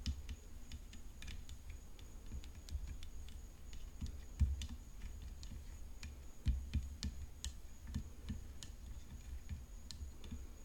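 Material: Graphite composite.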